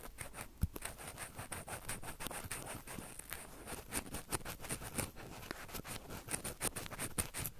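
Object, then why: Metal mesh microphone grille. Two crossed cotton swabs, held in the fingertips, rub and tap quickly on top of the hollow metal mesh mic grilles of a small Roland recorder. The result is a dense, fast patter of soft scratchy taps with a hollow low thump and a faint high metallic sheen. Each tap dies away almost instantly.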